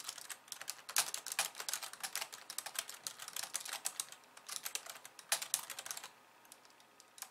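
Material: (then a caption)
Plastic. Fast two-handed typing with long nails on a pink plastic slim keyboard with white keys. It makes a dense, irregular stream of bright, dry plastic clicks and taps with almost no low end, each dying away almost instantly. After about six seconds the typing thins to a few quieter, scattered taps.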